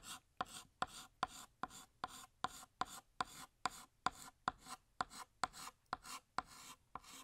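A stick of blue chalk held in the fingers scrapes down a large, flat, solid black chalkboard, drawing a balloon string. Around nineteen short, quick strokes follow one another at a steady rhythm, each a sharp, bright scratch with a faint squeak near 1 kHz. The strokes fade almost instantly into quiet between them.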